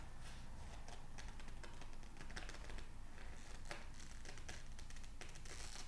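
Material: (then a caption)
Paper. An open glossy psychology magazine with thin printed pages is held in both hands while the fingertips rub, squeeze and then turn a page. Quiet, dense crinkling and papery rustling come through as a steady run of bright, brief tick-like clicks over a low rumble. The level stays soft and fairly even throughout.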